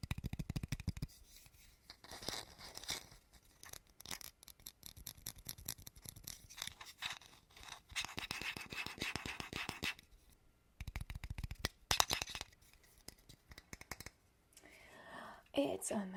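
A small, old plastic PlayStation 2 memory card is tapped and handled close to the microphone. Rapid, dry clicks and scratchy taps come in quick bursts with brief pauses. The sound is crisp, short and bright, with little ring after each hit.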